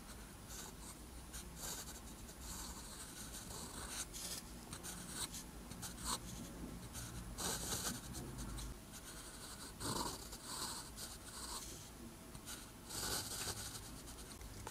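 A metal fountain or dip pen nib, held in the fingertips, scratches across a flat, thin sheet of lined white paper while writing Korean letters in green ink. The sound is soft, continuous scratching with bright, hissy strokes and small bursts as the letters are formed, over a low, steady background.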